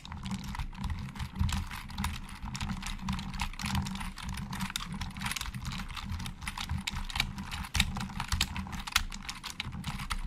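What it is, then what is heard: Plastic computer keyboard being typed on. Slow fingertip typing with both hands on a hollow black plastic Logitech keyboard. It produces a steady stream of short, bright, clicky keystrokes of varying loudness over a continuous low rumble.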